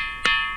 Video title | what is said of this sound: These Mysterious Rocks Make The Weirdest Sound | most of them are regular thuds but there's some special Boulders that really ring with a whole range of frequencies